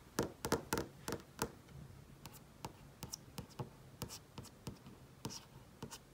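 Painted nails tap and trace across the surface of a large flat-panel TV screen. About twenty quiet, sharp clicks land in an irregular rhythm, louder and closer together at first. Between them comes a faint, soft scraping as the nails trace over the screen, and each tap dies away almost at once.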